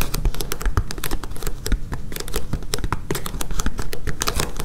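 Long painted nails tap and scratch quickly across the blue gridded top of a flexible, thick foam or rubber mat with a yellow underside, lying solid on a table. The result is a dense, continuous run of short, dry taps with quick scratchy strokes. Each tap carries a soft low thump and dies away almost at once.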